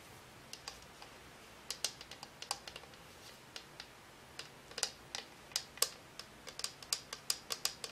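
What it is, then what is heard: Plastic and aluminum lamp. A small hollow cylindrical color-changing lamp, with a white frosted-plastic shade and a silver aluminum-look base, is held in both hands and tapped with long nails. Around 28 quiet, sharp, bright clicks sound in an irregular rhythm, each dying away almost instantly with almost no low end.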